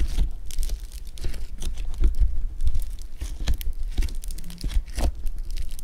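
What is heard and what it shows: A lump of blue foam bead clay is squeezed and pulled with fingers, giving a steady run of crunchy crackles and sharp bright pops over a low, muffled squish. The crackling comes in dense, uneven bursts that swell and fade throughout.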